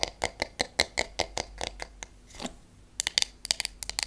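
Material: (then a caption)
Wood. A wooden hairbrush with wooden pins has its wooden handle and back tapped with long acrylic nails, giving about twenty sharp, bright clicks with almost no ring. The taps come at a steady pace, then pause around a softer brushing swell, then resume in quicker, uneven clusters.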